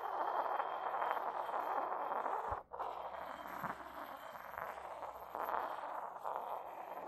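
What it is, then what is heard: Porcelain mortar and pestle, rubbed. An inverted, hollow white decorated porcelain mortar has its base rubbed with a porcelain pestle while the bowl is tilted and moved on a carpet. A steady, dense scraping and rubbing sound centred in the midrange runs throughout, with one brief drop into near-silence partway through before the rubbing resumes.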